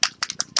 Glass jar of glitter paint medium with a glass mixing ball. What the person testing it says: shake it really well, so you can hear the glass ball inside. So if you can hear it, That means it shakes really, really well.